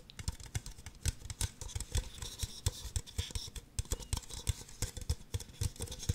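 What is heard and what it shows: Two identical empty, hollow red plastic disposable party cups, held upside down one in each hand, are tapped and scratched on their bases and sides with long acrylic nails. Quick, dry clicking taps with a hollow low thump come in an uneven, rapid patter, mixed with bright scratchy rasps. Each tap dies away almost instantly.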